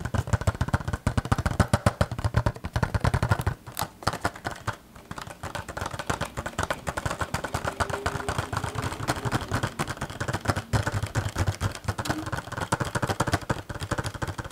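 Fingertips and nails rapidly tap and scratch a small green printed cardboard toy box with a clear plastic window and a vinyl figure inside. The result is a dense, steady stream of dull, low-heavy taps and dry scratches with almost no ring, easing briefly into a quieter patch around four to five seconds before picking back up.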